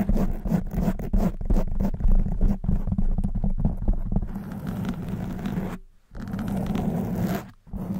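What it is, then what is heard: Foam microphone windscreen being scratched. Long white nails scratch across the top and sides of a soft black foam windscreen covering a silver studio microphone, using both hands. The sound is a dense, muffled, low rumbling scrape with rapid, uneven strokes and almost no high end. It pauses briefly twice near the end before the scratching resumes.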